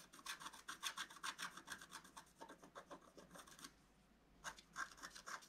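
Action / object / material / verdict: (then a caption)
scrape / scratch art paper sheet scraped with a wooden stylus / coated paper / none. A wooden stylus scratches leaf shapes into a flat scratch art sheet with a black coating, using rapid strokes. Dry, bright, raspy scratching comes in quick, uneven bursts, pauses briefly, then resumes with a few more strokes.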